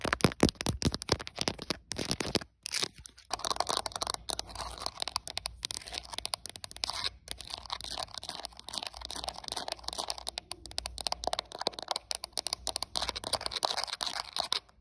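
Long acrylic nails on both hands rapidly tap and scratch the back of a translucent hard plastic smartphone case with a printed flower design, while the phone itself records. The result is a dense stream of crisp, bright plastic clicks and crackly scratching with a short, dry decay.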